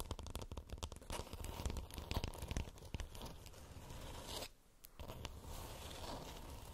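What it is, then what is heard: Plastic moon lamp scratched. Long nails scratch across the textured shell of a glowing, hollow plastic moon lamp, giving a dense, rasping, tearing-like crackle with a heavy low rumble under it. The scratching runs almost continuously, dipping briefly into near quiet around the middle before resuming at a steady level.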